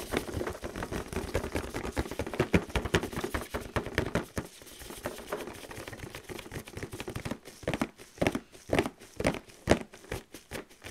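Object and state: Cardboard box tapped and scratched.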